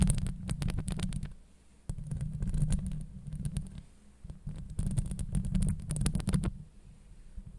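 Long acrylic nails scratch the sides of a hollow steel mesh microphone head. This produces dense bursts of rapid scratching strokes that come through as a deep, throbbing rumble, with faint bright clicks on top. The scratching pauses briefly near two seconds and again near four seconds, then fades to a quieter rustle toward the end.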